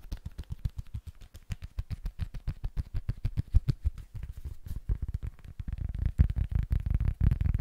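Fingertips and nails tap quickly on the face and edges of a small, flat, solid rectangular cork board held in both hands. The taps are dull, low thuds with almost no ring, coming in a brisk, uneven patter. In the last few seconds they crowd together into a denser, rumbling flurry.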